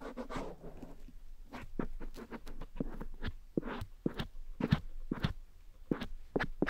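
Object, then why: Silicone ear of a dummy head microphone. A cotton swab rubs and scratches inside the grey silicone ear of a black dummy head microphone. The result is close, soft scraping and brushing with sharp bursts of scratching, mostly low and muffled.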